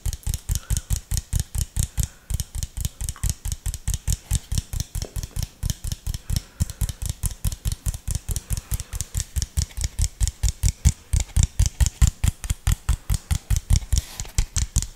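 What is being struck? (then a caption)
Plastic soda bottle. An empty clear plastic (PET) soft drink bottle with an orange cap and label, hollow and held in both hands near the mic, is tapped and squeezed with fingertips. About 73 quick, steady taps sound as dull low thumps, each with a short bright click on top and almost no ring.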